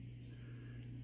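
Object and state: Nothing is struck.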